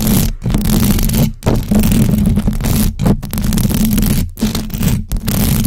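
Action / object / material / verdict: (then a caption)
scrape / metal mesh microphone grille / metal mesh / none. Long acrylic nails on both hands scratch fast across the hollow metal mesh grille of a large black USB microphone. The result is a loud, dense, continuous scraping roar that is heavy in the low end, with a steady hum near 210 Hz. It breaks off in several brief silent gaps before resuming.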